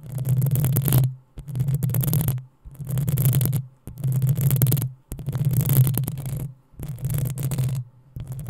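Long nails scratch the hollow metal mesh grille of a black desktop microphone. The result is seven rough, scraping bursts separated by short silences, the last one cut off. Each burst has a heavy low rumble around 130 Hz and a fizzy texture that reaches high.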